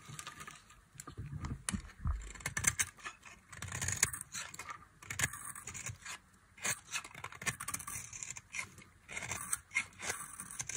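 A thin metal knife cuts and scrapes thin slices and flakes from a solid, palm-sized bar of dry pink soap held in the hand. The sound is a run of crisp, bright scraping and shaving strokes, with occasional low thuds and short pauses between passes.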